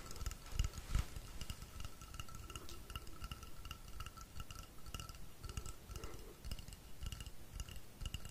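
Fingertips tap quickly and unevenly on the side of a long, hollow, painted wooden rainstick held upright. The result is a steady stream of soft, low, dull thuds with faint bright clicks and rattles, over a quiet, constant tone near 1.3 kHz.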